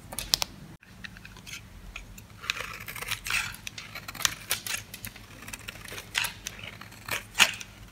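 A metal blade shaves crunchy white flakes off a hand-sized, solid oval bar of dry soap, painted orange and black with an embossed logo and held in the hand. A series of crisp, bright, dry crunching scrapes sounds, each ending quickly with no ring, over a faint low background hum.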